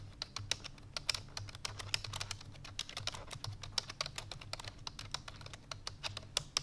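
Fingertips with long painted nails rapidly press the keys of a full-size black plastic computer keyboard resting on a white fur rug. The result is fast, dense typing: sharp, bright clicky taps with almost no ring, over a faint steady low hum.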